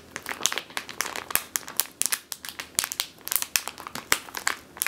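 Long teal nails squeeze and scratch a medium clear plastic bag with a purple label, full of flour or grain. The result is a rapid, uneven series of sharp, bright crinkles and crackles that stop almost instantly, with hardly any low end.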